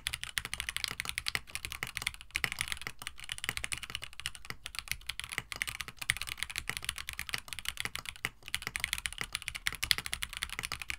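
Steady two-handed typing on a compact 65% KBD67 Lite mechanical keyboard with a white plastic case, Gateron CJ switches, an FR4 plate and blue-and-white PBT keycaps, resting on a desk mat. A rapid, continuous stream of short, bright, clacky keystrokes with almost no ring, and some deeper thock beneath.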